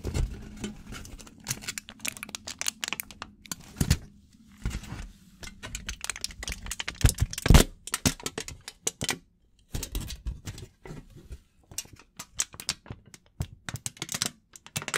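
A thin sheet of aluminum foil is held in both hands and crinkled and rubbed with the fingers close to the microphone. Dense, irregular bursts of sharp, bright crackles and rustles come in quick flurries with short pauses, over a soft low rumble from handling.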